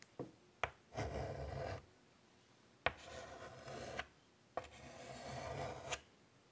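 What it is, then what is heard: Chalk scratching on a chalkboard. White chalk draws curved lines on a large wood-framed chalkboard, making a dry, rasping scratch. Three longer scraping strokes are separated by quiet pauses, each opened by a sharp tap of the chalk against the board, with a few faint taps at the start. The scratch is bright and gritty, with a faint low rumble beneath it.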